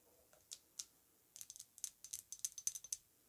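Long nails tap the base and front of a filled, square, thick glass Narco Oasis perfume bottle standing on fur. Two spaced taps open the clip, then a quicker, irregular run of sharp, high-pitched clicks follows. Each click is dry and brief, with almost no ring or low end.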